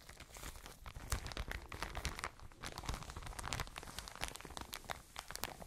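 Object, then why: Soft plastic bag filled with cotton wool. A full, soft plastic package of cotton wool is squeezed and crinkled by hands with long nails close to the microphone. Dense, crackly crinkling comes with sharp, bright snaps and a low, muffled rumble of the squeezed package beneath. The sound is continuous and steady, with frequent brief crackles throughout.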